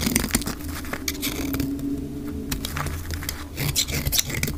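A solid pink dry bar soap, held in the hand, is shaved into curls with a metal utility-knife blade, played at double speed. Quick, dry scraping strokes and crisp crackles follow one another closely over a steady low hum.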